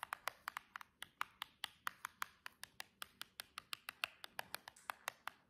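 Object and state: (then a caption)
Cardboard box tapped with fingernails. The long edge of a silver cardboard box is tapped with the tips of long jeweled press-on nails from one hand. About 30 quick, quiet, crisp clicks follow each other in a steady, rapid patter, each one bright and dry with almost no ring.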